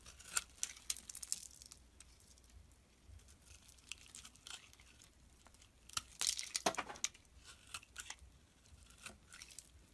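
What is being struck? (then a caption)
Bar of soap shaved with a blade. A utility blade shaves thin curls off the surface of a solid brown soap bar held in the palm. Crisp, bright scraping and crackling strokes come in irregular bursts, with a denser flurry of cuts toward the middle. Short, dry, tearing-like sounds with almost no low end.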